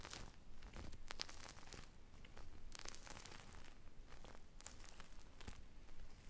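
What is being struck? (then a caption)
Polyurethane foam squishy toy. A purple-glazed polyurethane foam ice cream squishy toy with sprinkles and a stick, made of solid soft foam, is squeezed and scratched with long brown nails. The result is a steady run of dry, crinkly scratching and tearing-like rasps, with bright crackly bursts over a low, quiet background.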